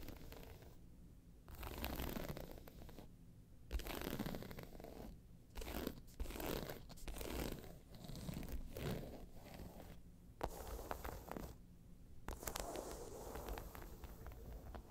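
Long pointed nails scratch the round face of a round, hollow, tan croc-embossed faux leather handbag lying on its side, then move on to its side. The scratching comes in raspy, crunching bursts separated by short quiet gaps, with a dull low hollow rumble under the dry, close scrapes.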